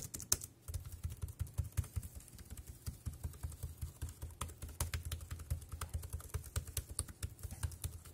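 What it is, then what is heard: Plastic keyboard being typed on. Fingertips type quickly on the round keys of a dark grey plastic wireless keyboard. The result is a steady stream of short, crisp clicks with bright ticks over a soft low thud on each press, and each one stops almost instantly.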